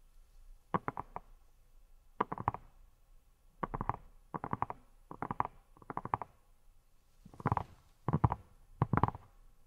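Long nails tap a hand-sized yellow silicone pineapple-shaped brush with a textured surface that appears hollow. Quick, dull, muffled taps come in nine short bursts of several taps each. They have a low, hollow body, no bright edge, and die away at once between bursts.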